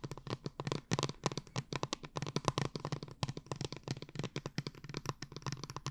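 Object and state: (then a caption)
Liquid-filled plastic bottle, tapped and scratched. Long painted nails tap and scratch a tall, cylindrical blue plastic glitter water bottle with a dark cap, held upright near the mic and filled with liquid and glitter. A rapid, steady run of short, dry clicks lands on a low hollow thump, with bright scratchy edges that die away almost instantly.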